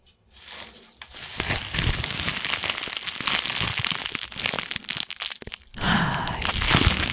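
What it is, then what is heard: Plastic bubble wrap being crumpled. A loose bundle of clear plastic bubble wrap with hollow air cells is held in both hands and crumpled and squeezed with the fingers close to the microphone. After a quiet start, it builds into dense, bright crinkling and crackling with sharp pops scattered throughout. Near the end there is a brief lull before a louder burst of crinkling.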